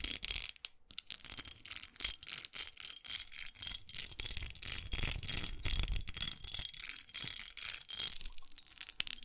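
Long acrylic nails scratch along the textured side and smooth label panel of a small red studded glass perfume bottle held upright in a hand. The result is a rapid, irregular run of dry, bright scratching strokes with a thin high sheen, short quiet gaps between them, and no lingering ring.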